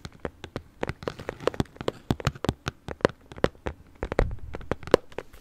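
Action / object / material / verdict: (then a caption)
tap / small closed cardboard box / cardboard / none. Long nails tap quickly and irregularly on a small, closed, hollow pink printed cardboard gift box held in one hand, about thirty taps over five and a half seconds. Each tap is a short, dry, hollow knock with a muted mid-pitched body near 490 Hz that dies away almost instantly, with little brightness and a faint low rumble underneath.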